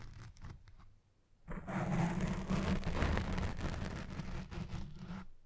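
Long red-painted fingernails scratch and rub the soft, hollow-domed black foam windscreen of a Blue Yeti Pro microphone, with the hand partly covering the mic. After a few faint scratches and a near-silent pause, a dense, continuous scraping and rubbing swells in. It is heavy in low, muffled rumble with brighter scratchy texture on top, and it eases slightly toward the end.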